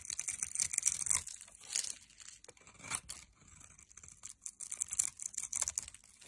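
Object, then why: Bar of soap cut with a metal blade. A metal blade cuts across a hand-held solid orange soap bar scored in a grid, crumbling off small soap cubes. The sound is a series of dry, crisp scraping and crumbling bursts, bright and hissy with almost no low end. They come in uneven clusters separated by brief quieter gaps.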